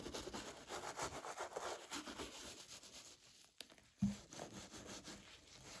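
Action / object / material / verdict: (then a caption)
scrape / leather shoe brushed with a small bristle brush / leather / none. A small wooden welt brush is rubbed back and forth along the sole edge and toe cap of a hollow, dark brown leather derby brogue shoe held in a gloved hand. The strokes make a steady, dry, scratchy rasp, broken by a sharp tick and then a short, low knock before the brushing resumes more softly.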